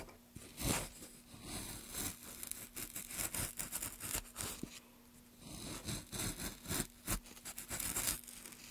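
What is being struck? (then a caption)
Wooden plank. Gloved hands push a gouge along the grain of a solid, light wooden plank, carving it with repeated rough, bright scraping strokes and crisp shaving sounds. Short pauses separate the bursts, and a faint steady hum near 250 Hz runs underneath.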